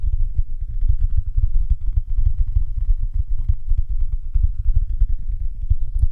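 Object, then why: Soft silicone night lamp. Fingertips tap and scratch the sides of a glowing, hand-sized, hollow, dumpling-shaped soft silicone night lamp held over the microphone with both hands. It makes a steady stream of rapid, muffled thumps, deep and boomy, with a faint scratchy texture above them and almost no brightness.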